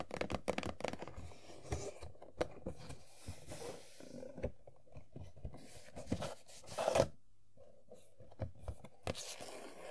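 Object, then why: Cardboard box with plastic window. An empty, hollow printed cardboard Funko Pop toy box for Sailor Jupiter, with a plastic window, is turned in the hands and tapped with nails and fingertips. Quick, dry taps and crinkly scratching and scraping come in uneven bursts, with short rustles as the box is handled.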